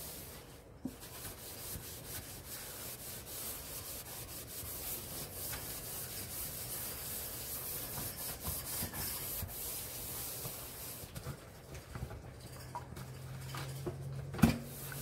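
A hand scrubs the walls of the right basin of a large, hollow stainless steel kitchen sink with cleaning powder, using a yellow sponge. A steady, gritty rubbing hiss runs throughout, with bright scratchy texture. Occasional short knocks come through, the loudest near the end.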